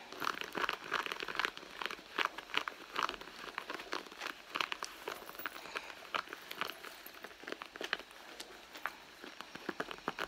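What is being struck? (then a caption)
Soft leather handbag. Long blue nails on both hands scratch the surface of a hollow red soft-leather handbag, making a dense run of quick, dry scratching and crinkling strokes. The sound is bright and crackly, with many short, sharp scrapes and almost no low end.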